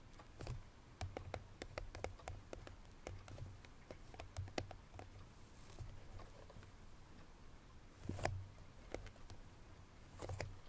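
Long natural nails tap a light, irregular patter on the top of a small cardboard perfume box lying flat. The quiet, dry clicks each carry a soft low thud around 100 Hz and a brief bright tick. They die away almost at once, with a few louder clusters of taps near the start, around eight seconds and at the end.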